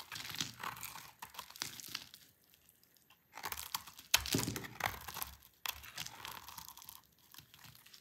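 A dry, solid rectangular green soap bar is held in the hand while a utility knife blade cuts long strips off it. Each cut makes a bright, crisp crunching and scraping that comes in bursts with short quiet gaps between them. The sound is dry and close, with almost no ring after each cut.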